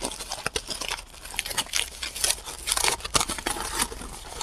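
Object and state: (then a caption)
Crumpled aluminum foil ball. A small, hollow, loosely packed ball of crumpled aluminum foil is held in both hands close to the microphone while fingertips squeeze, crinkle and rub it. Dense, bright crackling and rustling dominates the high frequencies, with many short, sharp crinkles running through the whole clip.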